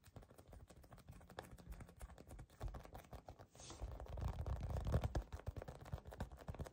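A palm-sized, solid and soft yellow polyurethane foam squishy cookie toy with dark and purple chips is gripped, squeezed and scratched by fingertips and short nails. The result is a quick, uneven run of soft, dull scratching taps, mostly low and muffled, with a brief brighter hiss. The taps grow fuller and louder toward the latter part before easing off.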